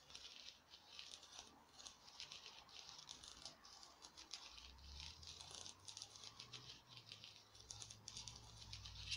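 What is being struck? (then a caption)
Small glitter-coated foam craft pumpkin. Long nails tap and scratch a small, hand-sized, glittery orange artificial pumpkin, likely foam. The result is a quiet, steady stream of quick, crisp, bright ticks and scratchy rattles over a faint low hum.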